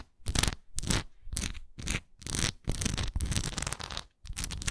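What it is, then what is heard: Wax pillar candle. Long nails tap and scratch the sides of a solid wax pillar candle with a swirl relief. Irregular bursts of dry, bright scratching sit over a low, dull thud, with brief near-silent gaps between the strokes.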